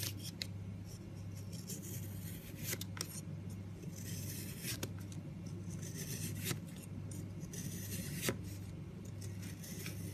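A long metal knife blade shaves thin slices from a large, solid blue-grey soap loaf. Each cut gives a crisp, bright scraping rasp that ends quickly, spread irregularly through the clip, over a steady low hum and soft background noise.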